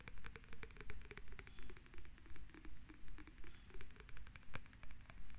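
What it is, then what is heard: Glass jar tapped with fingernails. A small, lidless, hollow cylindrical glass jar with a bluish tint and unclear contents is held in both hands, then tapped and scratched on its side and rim with long red acrylic nails. Rapid, crisp, bright clicks and scratchy ticks ride over a low, soft rumble that swells in a steady, regular rhythm. Each tap rings only briefly.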